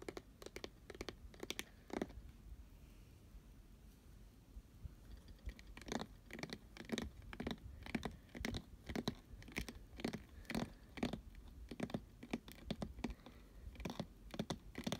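Fingernails tap and scratch the glittery sides of a hollow, medium-sized pink glitter-coated cardboard cupcake box with a fabric lid. Sharp, dry taps come at an uneven pace, sparse at first and then quicker and more steady after about five seconds, with gritty scratching between them. Each tap dies away almost at once.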